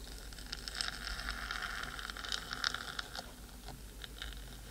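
Long green glitter acrylic nails tap and scratch the top of a hollow, black metal cylindrical housing of a 3Dio binaural microphone mounted on a stand. The result is a quiet, irregular patter of short, dry clicks and scrapes with a bright metallic sheen around 1.5 kHz and higher. The clicks die away almost instantly over a low background hum.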